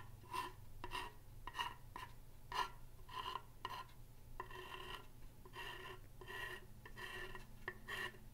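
A thin pen-like tool scratches and traces across the surface of a large, solid wooden plank sign with painted lettering. Short raspy strokes carry a faint ringing tone around 1 kHz, then give way to longer, steadier rubbing passes over a low, constant hum.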